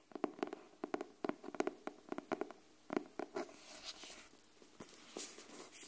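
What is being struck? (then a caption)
Cardboard hardcover notebook. Long nails tap and scratch the cover of a pink cardboard hardcover paper notebook, a solid block of pages held flat near the mic. About sixteen crisp, dry taps with a hollow mid-low knock around 360 Hz sound in quick clusters over the first three seconds. Softer, brighter hissing scratches across the cover follow, with a few more taps mixed in.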